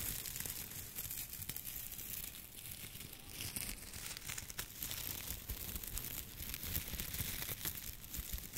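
Both hands rub, bend and crinkle a large hand-held bundle of dried wheat or grain stalks with their ears, held in front of a microphone without touching it. A dense, continuous dry crackling and rustling fills the clip, bright and crisp on top with soft low handling rumble underneath, rising and falling as the stalks are worked.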